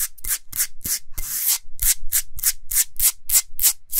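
Fingernails and fingers rub and scratch quickly across the surface of a large, flat, solid pink Himalayan salt block. Twelve short, bright, gritty scraping strokes are heard, including one longer sweep near the middle, each carrying a faint low thump.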